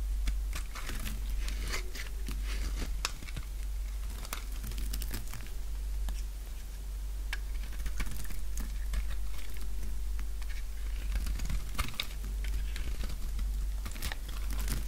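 A solid light-blue oval bar of dry soap, held in the palm, has its edge shaved with a utility knife blade. Quick, irregular crunchy scrapes and crackles repeat throughout as flakes curl off, over a steady low hum.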